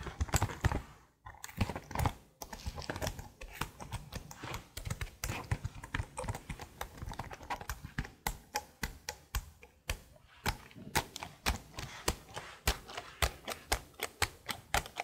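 A detached black plastic laptop keyboard with decorated keys, thin and hollow, is held in hand close to the microphone while long blue-painted nails and fingertips tap and press the keys. Quick, dry clicks and taps come in dense bursts, then as more spaced-out, distinct strikes. Each hit is short, with a hollow low thump under bright plastic clacks.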